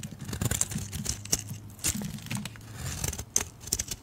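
A metal blade carves thin strips from a solid oval yellow soap bar held in a hand with blue-painted nails. Crisp, bright scraping and crackling shaves come in quick bursts over a soft low rumble, with a few sharper clicks as the blade cuts through.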